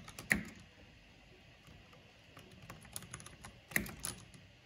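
Both hands with long nails type on a black plastic backlit mechanical keyboard with hollow plastic keycaps. Two loud, sharp clacks stand out near the start and near the end, with a low thud under each. Lighter, scattered bright clicks fill the quiet stretch between them.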